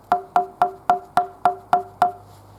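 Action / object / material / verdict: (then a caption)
tap / red oak wood tapped with a rock / oak wood / hard. Red oak wood is tapped eight times with a rock, each tap giving a short, bright, hollow knock with a clear tone around 715 Hz that dies away quickly. The sound marks the wood as very hard with tight grain, and it does not dent.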